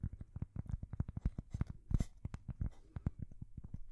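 A thin, solid, square cork coaster is held against the microphone and tapped and scratched with long fingernails. A rapid, uneven run of short, dull, low thumps with almost no ring is heard, with a brief brighter scratchy rasp around the middle.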